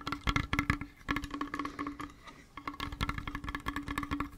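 A small, flat, hollow hip flask with a brown leather wrap and a metal cap and edges is held close and tapped rapidly with fingertips and nails on the leather and metal surfaces. The result is a quick, uneven patter of soft, dull thuds with brief bright clicks, and a steady low ring sustains beneath the taps. The tapping pauses for a moment midway, then resumes.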